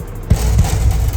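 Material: Steel.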